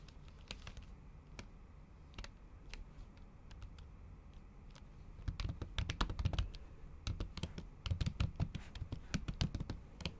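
Long acrylic nails and fingertips type on a MacBook keyboard under a pink silicone cover. Sparse, soft taps give way after about five seconds to a faster, louder run of keystrokes. Each stroke is a short, muffled low thud topped by a bright, sharp tick that dies away almost at once.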